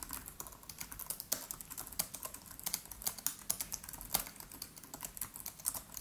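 Fingertips of both hands type rapidly on the black plastic keys of a MacBook Pro laptop with an aluminium body. Quick, dry, bright clicks follow one another in a steady, quiet stream with very little low end, each tap dying away almost at once.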